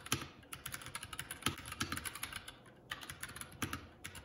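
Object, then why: Plastic mechanical keyboard. Fingertips of both hands type continuously on a Keycool K84 75% mechanical keyboard with plastic keycaps. A steady stream of sharp, bright clacks comes through, with a few louder key strikes carrying a low thud underneath. A brief pause near the three-second mark breaks the run of keystrokes.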